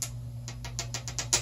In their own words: Sounds like glass. Okay, the thing is definitely glass.